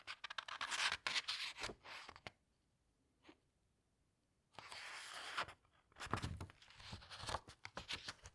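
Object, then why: Paper pages of a hardcover book. Hands with long red nails turn and squeeze down the glossy paper pages of a large hardcover book. Bursts of bright, crisp rustling and crinkling come in clusters, broken by a near-silent pause with a soft tap in the middle. A later stretch of steady swishing leads into more sharp page flicks.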